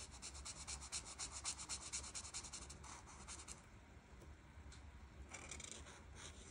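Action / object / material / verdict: scrape / felt-tip marker on a paper sheet / paper / none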